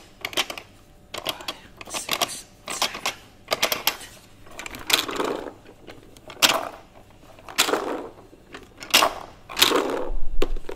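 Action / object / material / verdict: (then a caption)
scrape / plastic toy xylophone / plastic / none. Fingernails rapidly scratch and tap across the ridges of a hollow plastic toy xylophone with a white ridged top, held and turned in both hands. Short bursts of dry, bright clicking and scraping come in quick clusters separated by brief quiet gaps. Each sound dies away almost at once, with no ringing tone.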